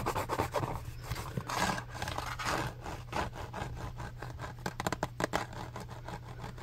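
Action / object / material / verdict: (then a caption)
scrape / plastic lotion bottle / plastic / none. A white, medium-size, hollow plastic Lubriderm lotion bottle is held in the hands while fingertips tap and scratch its label side. Soft rubbing and scratchy scraping give way to a run of quick, light taps over a steady low hum.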